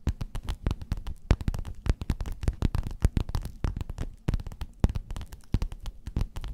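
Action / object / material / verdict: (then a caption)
tap / padded quilted faux-leather cover / faux leather / none. Long nails scratch and tap a flat, padded, gold metallic quilted faux-leather cover. The result is a dense, uneven flurry of dull, low, thumpy taps and soft scratches, each dying away almost instantly, with faint bright clicks on the sharper strikes.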